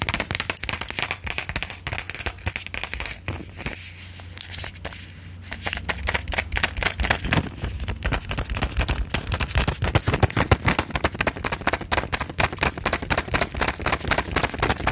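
A silver plastic and foil pill blister pack is held close to the mic while long nails tap and scratch across its plastic bubbles and foil. The result is a dense, irregular stream of sharp crinkly clicks and scrapes with bright, crackling texture. The sound eases briefly around the four-to-five-second mark, then becomes busier and louder.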